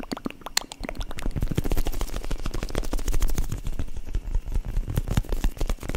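Long dark acrylic nails rapidly tap and scratch the textured crust of a solid, spongy foam squishy bread loaf about 20 cm long. The result is a dense, continuous stream of soft, muffled thuds, mostly low and dull with only faint bright scratchy detail. Each tap dies away almost immediately.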